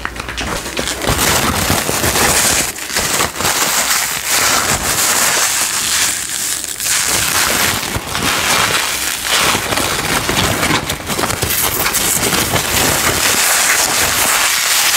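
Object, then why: Paper tissue. A soft white paper tissue is held in both hands close to the microphone and crumpled and scrunched with the fingers. A dense, steady, bright crinkling and rustling runs throughout with very little low end, swelling and easing slightly as the tissue is worked.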